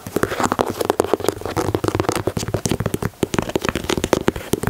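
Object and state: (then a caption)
Leather sneaker. Fingertips and nails tap and scratch the plastic mesh panel and the leather side of a white leather Air Jordan 4 sneaker. The result is a rapid, steady stream of short, dry taps with no ring, mixed with soft scratchy rustling. The tone sits mostly in the low-mid range, around 370 Hz.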